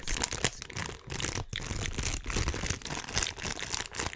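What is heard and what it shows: A small, thin, empty transparent plastic bag is held in both hands and crinkled and rubbed between the fingertips close to the microphone. The result is a dense, continuous crackle of bright, crisp crinkles over a soft low rustle, with brief quieter pauses between bursts.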